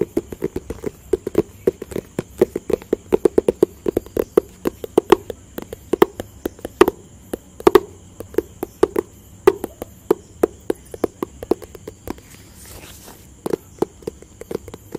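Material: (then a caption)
Cardboard. Fingertips and nails tap a hollow, rectangular white, grey and blue cardboard product box in quick, irregular bursts. Each tap is short and dry, with a hollow low-mid knock around 380 Hz that dies away almost instantly. A faint steady high hum runs underneath, and the tapping briefly pauses around the 12–13 second mark.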